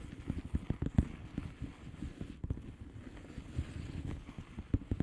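Long painted nails on both hands tap and scratch across the bubbles of a blue plastic bubble wrap mailer lying flat. A quick, uneven run of soft, dull taps is heard, heavy in the low end, each dying away almost at once, with faint scratchy rustling in between.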